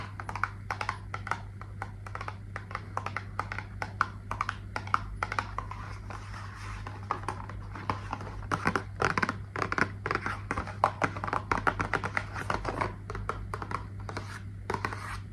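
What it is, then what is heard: Cardboard box tapped and scratched with nails. Long nails rapidly tap and scratch a small, hollow pink cardboard product box held close to the microphone, producing dry, crisp clicks and scraping over a steady low hum.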